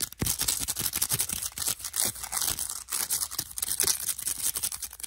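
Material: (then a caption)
Plastic. Fingertips and nails quickly tap and scratch along the rims of a stack of hand-sized, hollow, lightweight yellow and pale green plastic discs with round holes. The result is a rapid, continuous stream of bright, crisp clicks and scratchy rasps, mostly high in pitch with little low end. Each tap dies away almost instantly.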